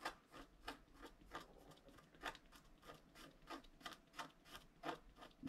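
A wooden stylus held in the fingers scratches lines into a flat A4-size scratch art sheet, a black coating over a gold/holographic layer, lying on a table. Quiet, dry, bright rasping strokes come in an irregular series of short bursts, each fading quickly.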